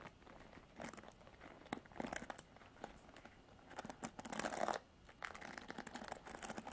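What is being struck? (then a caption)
Plastic paddle hairbrush with pin bristles. Long nails scratch across the pin bristles and plastic frame of a Revlon paddle hairbrush. The result is quiet, crackly scratching and rapid ticking in uneven bursts, with a louder rasping stretch near the middle.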